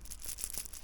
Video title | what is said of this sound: chain wax and master chain link on the Aventon Level 2 | That's the rollers rattling just for that little minute distance that it has.